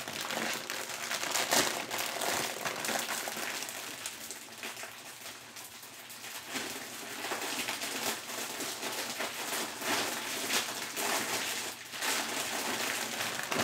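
A large clear-and-teal plastic bag full of shredded collard greens is held close and squeezed and crinkled with bare fingertips. The result is a steady, bright, irregular crinkling and rustling with little low end, swelling and easing in loudness throughout.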